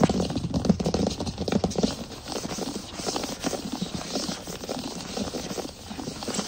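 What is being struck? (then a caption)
Wood plank floor. Short fingernails of both hands rapidly scratch and tap on a large solid wood plank floor. A dense stream of quick, dry taps with very short decay mixes with a steady scratching rustle. Low, hollow thuds sit near 160 Hz, and the tapping is busiest in the first two seconds.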